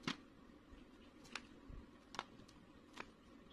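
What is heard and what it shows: A knife blade cuts and scrapes a solid white bar of soap held in the fingers, shaving off crumbly pieces. Four sharp, bright, crisp snaps stand out, separated by softer, quiet scraping and crumbling over a low background hush.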